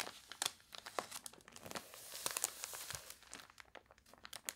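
Long nails scratch and rub the crinkled, glossy pages of a water-warped paper toy catalog, then turn a page. The result is a quiet, dense run of dry crinkles, crunches and scratchy rasps with bright, high-pitched detail and almost no low end.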